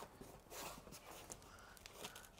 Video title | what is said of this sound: "Guide d'achat" Tout ce qu'il faut vérifier sur la Nissan FIGARO "Studio FIGARO" | on l'entend que ça croustigue